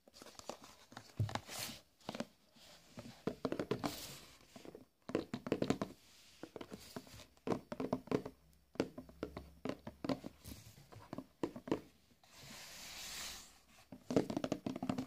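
A cylindrical Crastan coffee canister of paper-wrapped cardboard, hollow and holding product, is tapped and rubbed with the fingertips. Quick, dull, hollow taps come in bursts, mixed with soft scratchy rubbing and brief quiet pauses. The sound is quiet and mostly low-mid, with each tap dying away almost at once.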